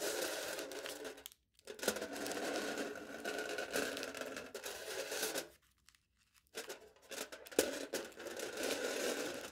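Aluminium foil stretched over a hollow plastic cup held in the hand is scratched and pressed with the point of a knife. The result is a dense, crinkly scraping and tearing texture with a hollow mid-range resonance and bright edges. It breaks off into two short silences and then resumes.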